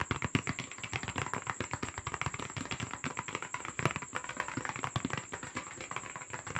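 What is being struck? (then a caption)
Paper box. Fast, aggressive tapping and scratching on a paper box, made as an ASMR trigger. A rapid, dense run of dry, crisp taps with short scratchy rasps between them, each hit dying away almost at once, over a faint steady high tone.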